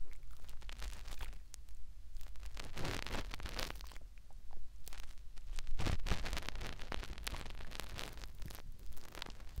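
Fingertips rub and scratch inside the ear canal of a white, soft silicone ear on a round binaural microphone. Close, crackly rustling and scraping bursts run continuously over a deep low rumble, with brief bright crinkles between them.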